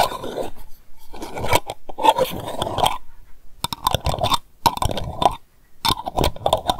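Long nails rapidly tap and scratch around the tin lid edge and glass of a small lavender candle jar held in the hand, possibly twisting the lid. Quick bursts of dry clicks and scraping come with short pauses between them, with a faint ring around 870 Hz.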